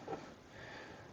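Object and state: Nothing is struck.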